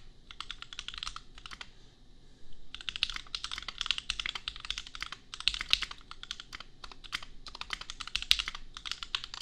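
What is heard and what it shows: Fingertips type on a compact custom mechanical keyboard with Gateron Milky Yellow switches and red and pink plastic keycaps. Rapid, bright, short clacks come in dense bursts, with a brief quiet pause near the two-second mark before the typing resumes steadily.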